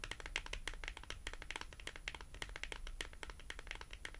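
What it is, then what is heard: Cardboard tag tapped with fingernails. A small, thin, flat, solid cardboard price tag with a colorful cartoon print, held horizontally in both hands, is tapped and scratched with long glossy acrylic nails. Rapid, quiet, dry clicks centered around 2 kHz, with bright edges, overlap with soft scratching over a low rumble. Each tap dies away almost at once.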